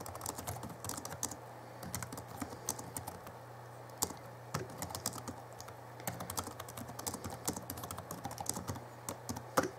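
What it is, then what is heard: Plastic laptop keyboard being typed on. Fingertips of both hands type on the backlit plastic keys of a small Alienware M11x R2 (2011) laptop keyboard. Quick, dry clicks and taps come in irregular bursts with short pauses, over a faint steady low hum.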